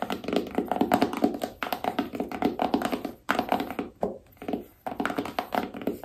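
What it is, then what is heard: Cardboard phone box tapped with fingernails. Long nails tap rapidly on the sides and lid of a small, hollow black cardboard iPhone box. The taps are quick, dry thunks with a hollow tone around 280 Hz. They come in dense bursts with brief pauses and die away almost instantly.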